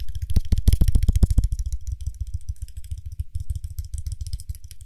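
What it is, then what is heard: Frosted glass cosmetic jar with lid. Fingertips tap quickly on the body and gold lid of a small frosted glass (possibly acrylic) cream jar, hollow and apparently empty, as it is turned in the hands. The result is a rapid stream of short, dull, low taps, loudest and brightest with clicky edges in the first second and a half, then softer and more muffled.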